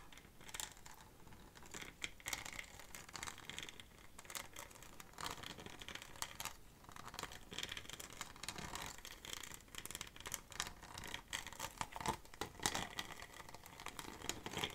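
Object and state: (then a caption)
Textured plastic bottle. Long fingernails scratch and tap the textured surface of a small, empty, clear textured PET bottle with an orange cap and a paper label. The result is a quiet, dense stream of bright, crinkly scratches and short, dry clicking taps, with little low end and almost no ring after each hit.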